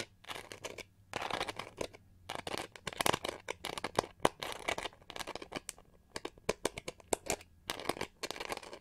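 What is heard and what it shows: Long nails scratch quickly across the textured back of a pink-gold, pyramid-studded plastic hair brush with a hollow shell, held in hand. The result is a rapid series of dry, crackly scratching bursts with a bright, rustling texture and brief pauses between flurries.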